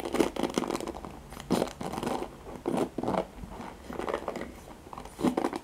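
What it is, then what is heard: Plastic hairbrush with nylon bristles. Fingertips and nails scratch and strum along the nylon pin bristles of a handheld black plastic paddle hairbrush. The result is a series of dry, crackling, close-up bursts with a crunchy, mostly midrange texture and no ring after each stroke.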